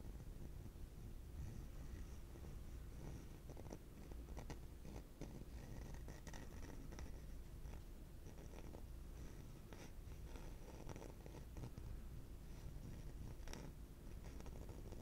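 A yellow hollow plastic pig piggy bank, held in one hand, is slowly scratched with the fingertips across its back. The result is a soft, low rumbling rasp with faint scratchy clicks. It stays quiet and steady throughout.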